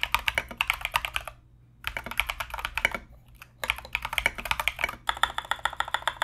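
Both hands type continuously with their fingertips on a compact mechanical keyboard fitted with Mozano EVE switches and Knight King plastic SA keycaps. Quick bursts of sharp, bright clacks with very short decay run in three stretches, separated by two brief pauses near 1.5 and 3.3 seconds.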